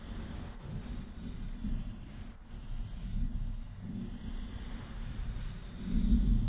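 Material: Nothing is struck.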